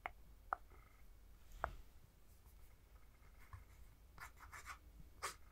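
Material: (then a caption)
Plastic. A fingertip taps and scratches the rear plastic shell of a Nintendo Switch handheld game console with Joy-Cons attached, held in one hand. A few sharp, dry plastic taps stand out, with softer, brighter scratching strokes between them, all quiet and very short with no ring.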